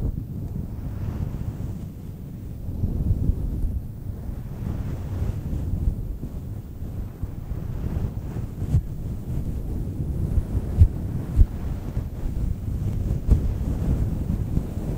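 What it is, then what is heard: Faux fur microphone windscreen being scratched. Long almond-shaped nails scratch and rub a large, round, grey-white synthetic faux fur microphone windscreen that sits soft and hollow over the mic. The sound is a continuous, muffled, low rumbling rustle with almost no high content, broken by a few sharper low thumps.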